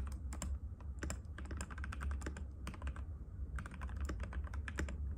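Fingertips of both hands type rapidly and continuously on a compact cream-white mechanical keyboard with plastic keycaps and a hollow case, resting on a glass table. A steady stream of sharp, bright clacking taps with short decays rides over a constant low hum.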